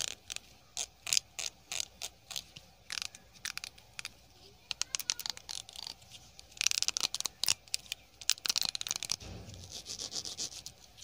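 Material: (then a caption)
Plastic. Fingertips run and flick along the teeth of a small pink plastic hair comb held up in one hand. The result is quick bursts of bright, dry scratching and ticking, nearly all high in pitch, with almost no low end. Each flick stops instantly with no ring, and the strums grow denser and more rapid partway through.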